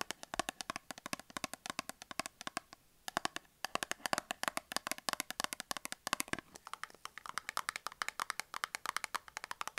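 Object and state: Cardboard soap box.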